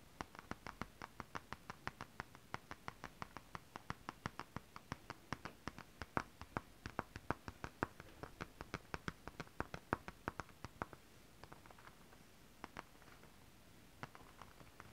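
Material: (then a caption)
Fabric. Long acrylic nails scratch back and forth across holographic mermaid scale-printed fabric in close-up, making a rapid, steady run of short, crisp scratching ticks with a bright edge. Around eleven seconds in, the strokes thin out to a few scattered scratches over a quiet background.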